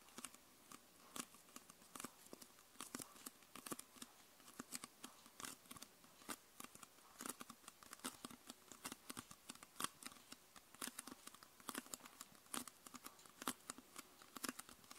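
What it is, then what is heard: Plastic soda bottle. Long purple nails tap rapidly and irregularly on the bottom plastic section of a clear, hollow 0.5 L PET Coca-Cola bottle with a red label, almost empty with condensation inside. The result is dozens of quiet, sharp, bright clicks over a thin crinkly hiss, each dying away almost instantly with almost no low end.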